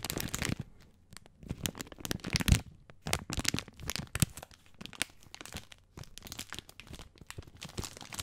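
Fingertips scratch and crinkle the plastic film of a full bag of dry spaghetti along its length. Dense, irregular bursts of bright crackling and crinkling come and go in waves, over soft low rustling thumps. Each crackle cuts off almost instantly, with no ring after it.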